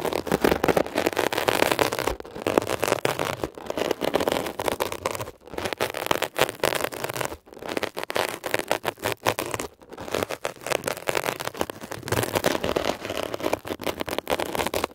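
A metal ear pick scratches rapidly over a blue mesh-covered textured foam scrub sponge, making a dense, crackly, scraping rasp centered in the midrange. The scratching runs almost continuously across the clip, with brief dips in loudness around 2, 5.5, 7.5 and 10 seconds.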